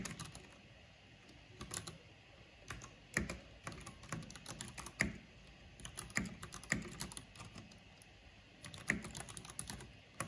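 Two hands with long nails type on a black plastic backlit mechanical keyboard with hollow plastic keycaps. Quick bursts of clacky keystrokes carry a low body around 200 Hz with bright clicks on top, and a few louder, sharper key hits stand out. Each keystroke dies away almost immediately.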